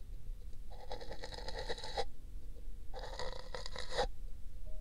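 A thin brush scrapes the outer wall of an empty pink paper cup resting on a binaural microphone's ear. The passes make a dry, bristly scratching with bright papery texture, separated by pauses. A low steady hum sits underneath throughout.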